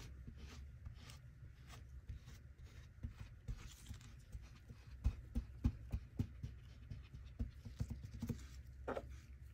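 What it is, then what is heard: Kinetic sand slab. Gloved fingertips pat and scratch across a flat, solid, round pancake of beige kinetic sand resting on a wooden table, leaving ridges in its surface. The sound is a quiet, low, muffled patter of soft thuds with faint scratchy rasps, and it comes at an uneven pace with a few sharper taps in the second half.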